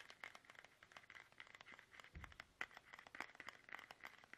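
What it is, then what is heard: Plastic toothpaste tube tapped. A small, soft, hollow plastic toothpaste tube, held upright in both hands, is tapped fast with the fingertips. The result is a quiet, irregular stream of short, crisp, crinkly taps with a bright tone around 2 kHz, plus one brief low thump near the middle.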